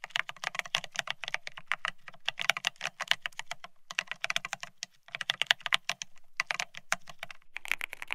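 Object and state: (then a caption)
Plastic keyboard being typed on. Fingertips type fast on a beige plastic split ergonomic keyboard, producing dense, rapid clicky taps with a bright, dry character and a low thock under each stroke. The typing comes in quick bursts with brief pauses between them.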